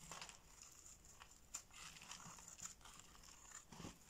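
A box-cutter blade shaves shredded flakes from a solid orange bar of soap held in the hand. The result is a quiet run of crisp, crinkly scraping strokes with a bright, high hiss and a few sharper rasps.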